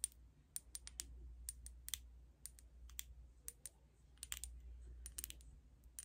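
Long acrylic nails tap on a small glass liquid foundation bottle with a black cap, filled with beige liquid. About twenty quiet, bright, dry clicks come in an irregular rhythm, each dying away almost instantly. A steady low hum sits underneath.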